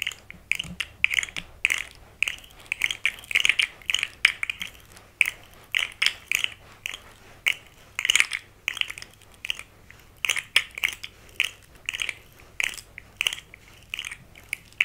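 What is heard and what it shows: A small, rainbow-colored, hollow, segmented plastic articulated fidget slug is held in the hands while its segments are flexed and clicked with long nails and fingertips, possibly also stroked with a thin tool. Irregular bursts of dry, ratchet-like clicking come through, bright and thin, centered around 2.3 kHz with almost no low end. Each click stops almost instantly, with quiet gaps between the clusters.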